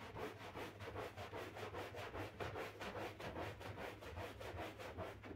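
A pink-handled stiff-bristle broom scrubs a wet, printed flat-pile synthetic rug thick with soap foam. It makes a steady, rhythmic swishing rub at a little over two strokes per second, with a low hum underneath and a soft bright hiss on each stroke.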